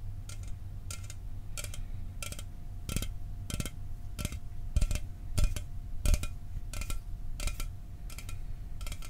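A sealed, hollow 12 oz Mountain Dew aluminum soda can is held near the mic and tapped with fingernails. The result is a steady run of short, bright, clicky taps that die away almost instantly, over a low rumbling background and a faint steady tone.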